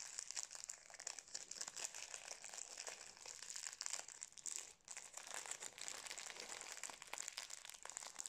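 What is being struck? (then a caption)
Metallised plastic snack wrapper. A full, small individually wrapped Napolitain cake in a metallised plastic wrapper is held in both hands and crinkled and squeezed with the fingertips. The result is a dense, continuous stream of bright, crisp crackles with almost no low end and a brief pause just before the five-second mark.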